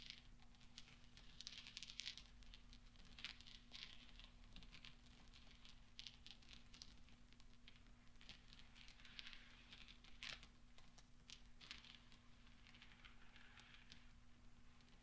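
Small solid steel pachinko balls are rolled gently against each other under the palms on velvet. The result is a quiet, continuous stream of bright metallic clicks and soft rustling, with a steady low hum underneath.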